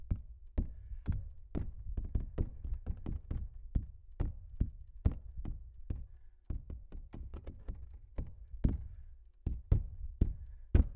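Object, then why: Stretched canvas print. Fingertips tap and knock on the surface of a large, hollow-backed stretched canvas print. A rapid, uneven series of soft, dull thuds follows, deep and low with short bright clicks at each touch. Every hit dies away almost at once.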